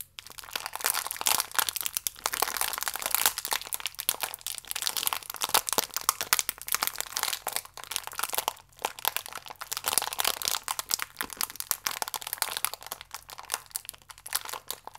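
A small, full, plastic-wrapped biscuit pack is twisted and squeezed firmly in both hands, so the film crinkles and the biscuits inside crunch. Dense, bright crackles and crunches pile up continuously over the whole fifteen seconds, with brief dips between bursts and no low rumble.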